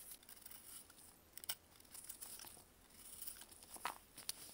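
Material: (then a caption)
Baking soda. A blue-gloved hand holds a hand-sized, partly purple-coated block of pressed baking soda while a metal knife blade carves and scrapes it over loose powder below. Quiet, bright, gritty scraping runs throughout, broken by short, sharp crunchy crackles as pieces break away, with the crispest snaps near the middle and toward the end.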